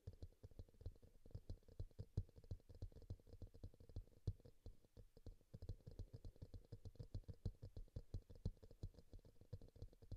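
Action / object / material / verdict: tap / small plastic bowl / plastic / none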